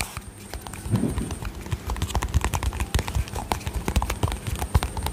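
Painted fingernails tap and lightly rub the lid and body of a small, round, yellow-green plastic cosmetic cream jar with a lid, hollow, held close to the mic. The result is a quick, irregular run of short, dull, low-pitched taps with soft rubbing between them, and each tap dies away almost instantly. A faint, high, steady tone sits underneath.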